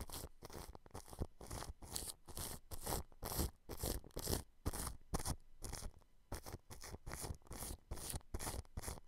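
A large blue-bristled paintbrush brushes and scrapes clear cling film wrapped over a microphone grille. It makes repeated crinkling, swishing strokes at roughly two per second in a loose, uneven rhythm. Each stroke carries a heavy low thump and rumble under bright, airy crackle.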